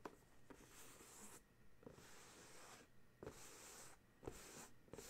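Fingertips with short nails tap and scratch the top of a medium, closed, rectangular printed paperboard box of dryer sheets, likely full, lying flat on a gray towel. Six soft, dull taps with a low-mid body land between stretches of airy, bright scratching hiss, all at a quiet level.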